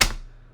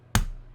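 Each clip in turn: First: One sharp, bright slap with a hard plastic click that dies out fast: a fake plastic stack of bills. Second: One soft, dull slap with a low thud and no ring: a stack of real paper banknotes, not plastic.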